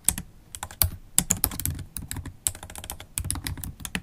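Long holographic acrylic nails tap the black plastic keys of a MacBook Pro keyboard in steady typing. The result is a quick, uneven run of crisp, bright clicks over soft low thuds, each dying away at once with no ring.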